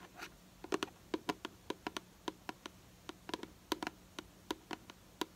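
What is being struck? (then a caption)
Plastic hair product bottle. Long nails tap and scratch the side of a hollow purple plastic hair product bottle held in the hand. 23 quick, dry, hollow clicks with a low-mid body around 316 Hz and bright tips, each dying away almost at once. Between them, faint soft scratching sits over a quiet background.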